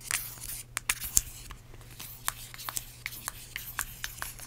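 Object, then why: Plastic hand cream tube. Long acrylic nails tap and scratch on a small, filled, yellow plastic hand cream tube and its cap. A brief scratchy hiss opens the clip, followed by a series of sharp, bright, short clicks over a faint, steady low hum.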